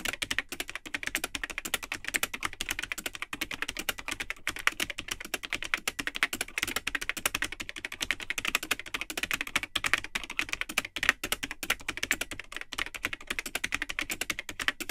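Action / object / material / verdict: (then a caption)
tap / plastic computer keyboard / plastic / none. Fingertips of both hands type continuously on the built-in keyboard of a vintage Tandy 1000 HX all-in-one computer, with its cream plastic case and yellowed, hollow plastic keycaps. The result is a steady, rapid stream of short, bright, clacky keystrokes that stop almost instantly, with very little low end, running unbroken for the full fifteen seconds.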